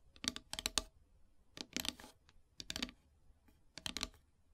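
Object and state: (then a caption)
Painted wooden plaque tapped with fingernails. Long silver nails tap on a flat, solid black painted wooden heart plaque in four quick bursts of light, rapid clicks. The taps are dry, bright and short, with almost no ring and little low end, separated by near silence.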